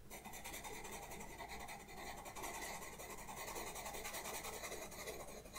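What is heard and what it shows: A pastel pencil tip rubs and scratches across a black paper sketchbook page in repeated short strokes, filling a lantern and drawing faces. The sound is a steady, dry, raspy scratching with bright, hissy texture above a faint low hum. It stays fairly even throughout with small rises as each stroke lands.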